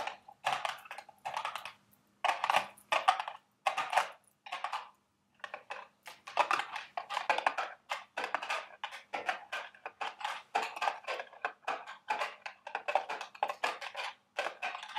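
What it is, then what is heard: Cardboard candy box. Long red nails tap and scratch the sides of a small, carton-shaped cardboard Dubble Bubble gum Easter eggs candy box as it stands on a table and is held. The result is a steady run of quick, dry, papery taps and scrapes that fade almost instantly, centred in the mids with some bright edge and a few brief pauses. A faint low hum sits underneath.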